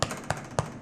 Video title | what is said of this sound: How to make SUPER EASY Artisan Bread & Pita Bread | you want it when you tap it to sound hollow